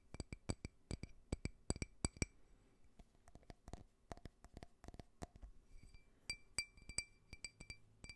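A small, clear, faceted drinking glass, hollow and empty, is held sideways near the microphone and tapped and scratched with fingernails. Rapid, irregular taps give sharp glassy clinks, each with a low thump and short bright ringing tones that fade almost at once. Soft fingernail scratching fills the gaps between taps.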